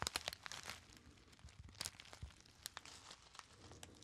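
A small, partly crumpled gold metallic foil packet, held near the camera, is crinkled and squeezed between the fingertips. It gives dense, bright crackling with sharp snapping bursts, loudest at the start, and the crinkles die away almost instantly.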